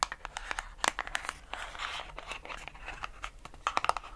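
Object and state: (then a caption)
Cardboard box tapped and scratched with nails. A small, light pink printed Born Pretty cardboard gel polish box, likely holding a gel polish pot, is held in both hands and tapped and scratched with long acrylic nails. Sharp, crisp clicks alternate with a dry, papery scratching and rustling, with a dense stretch in the middle and a quick burst of taps near the end in a small indoor space.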